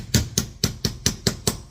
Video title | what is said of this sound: Cylinder head assembly | just tap on it lightly. And you hear it bottom out.